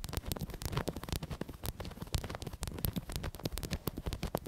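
Long acrylic nails scratch quickly across a black, soft, stuffed, medium-size fabric "BOO" throw pillow. The result is a dense run of short, dry scratching strokes, with a muffled low body and faint bright fabric hiss. Each stroke dies away almost instantly.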